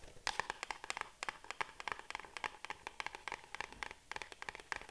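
A small printed cardboard box is held and turned in the hands while long nails tap and scratch its sides. About 27 quick, dry, papery taps come in uneven bursts over soft scratching, with a mid-range body, bright crisp tops, almost no low end, and no ring after each hit.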